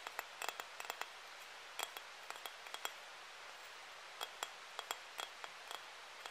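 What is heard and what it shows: A palm-sized, solid, flat pink glazed ceramic heart-shaped hanging ornament with a ribbon and dotted pattern is tapped with fingernails. About twenty short, bright clinking taps sound in irregular clusters, each dying away almost instantly, over a faint steady hiss with almost no low end.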